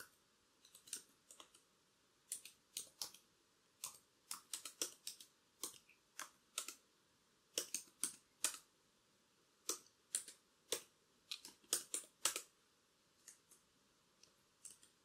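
Long curved black acrylic nails tap and type on the plastic keys of a laptop keyboard, with a chain bracelet on the wrist. Quiet, bright, sharp clicks come in irregular bursts and single taps, each dying away almost instantly with no low end.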